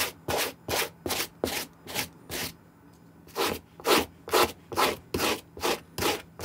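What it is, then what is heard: Suede sneaker being brushed. A white plastic-bristle suede brush scrubs the toe, side and tongue of an empty green suede Nike SB sneaker held in hand, using back-and-forth strokes. Fourteen dry, bright, rasping brush strokes come at a steady rhythm, with a brief pause partway through before the scrubbing resumes.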